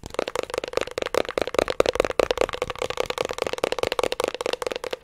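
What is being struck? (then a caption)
Metal hard disk drive casing. The labeled metal top side of a 3.5-inch hard disk drive, held in both hands, is tapped and scratched with fingertips and nails. A rapid, continuous stream of short, dry clicks and scratches rattles with a steady midrange tone around 500 Hz. There is little low end, and each tap dies away almost instantly.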